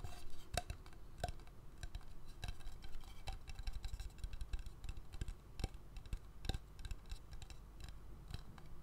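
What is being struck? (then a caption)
Wooden bowl. An empty, hollow, medium-sized wooden bowl, held tilted in one hand, is tapped and scratched on the inside and rim with fingernails. Quiet, uneven taps give short, dry knocks with a faint hollow ring in the mid range, mixed with soft scratching. Some taps stand out louder with a brief bright click.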